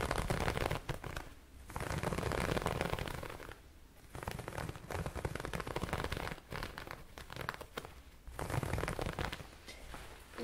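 A yellow ribbed or pleated fabric garment is held in one hand while the fingertips scrunch and rub it. This produces dense, crinkly rustling in several long bursts separated by brief quieter pauses, with a soft low rumble beneath the scratchy texture.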